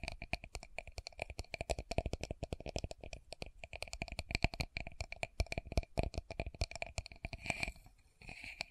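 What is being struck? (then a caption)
Small plastic cosmetic jar. Long nails tap rapidly on the sides and base of a small, round, translucent plastic loose powder jar held in both hands. The result is a dense, uneven stream of short, dry, bright clicks with almost no ring. Near the end, the tapping thins out into a brief, softer, brighter scratchy wash.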